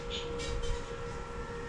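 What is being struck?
Nothing is struck.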